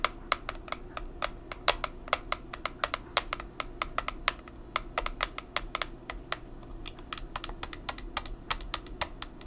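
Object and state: Plastic powder compact tapped with nails.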